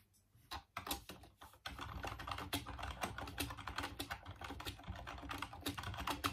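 Fingertips type on the keys of a full-size off-white plastic Dreamcast computer keyboard. A few separate plastic clicks come first, then a steady run of quick, bright, clattering keystrokes continues to the end.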